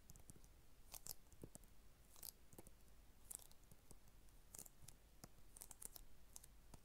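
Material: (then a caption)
Hard plastic. An Xbox 360 game case for Eragon, made of hollow hard plastic with a cardboard insert, is held in both hands and tapped and scratched with long red acrylic nails. Quiet, sharp clicks and bright, crisp taps come in quick, irregular bursts over a soft scratchy texture and a low, steady background hum. Each tap dies away almost instantly.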